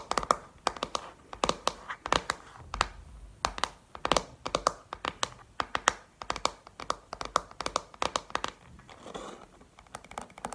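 Long painted nails tap on the back of a pink plastic paddle hairbrush, making quick, irregular, dry plastic clicks with almost no ring, centered around 1.3 kHz with bright edges. Near the end, the tapping briefly gives way to a softer, scratchy rustle before it resumes.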